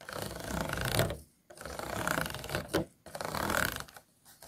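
Fingernails scratch the ridged walls of an empty, hollow, disposable clear plastic food container. Three bursts of fast, raspy scratching are separated by short silences. Each burst is a dense, crackly texture with bright edges and a faint hollow resonance from the container.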